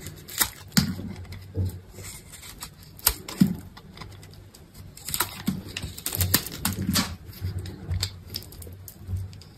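A metal box-cutter blade scrapes cubes from the grid-scored face of a solid green soap bar with a blue coated layer. Crisp, crunchy scrapes and snaps come in uneven bursts, each with a soft low thud and a bright crackle that dies away quickly. Small cubes break loose between quieter stretches of faint scraping.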